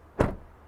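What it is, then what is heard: Car door closing from outside. A 2023 Toyota Crown hybrid's door is shut from the outside, giving a single low, dull thud centered around 100 Hz. The sound has almost no high-frequency content and fades within about a tenth of a second.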